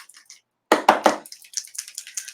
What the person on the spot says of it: make sure you shake it up and that you hear it going